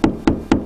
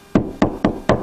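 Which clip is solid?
The second.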